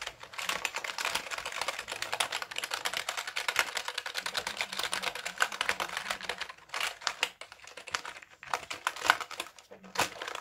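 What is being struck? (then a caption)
Plastic computer keyboard. A black, full-size Dell wired keyboard with plastic keys and a hollow plastic case is held up and tapped rapidly with the fingertips. Dense, bright plastic clicks run almost continuously, with brief pauses and sparser bursts near the end.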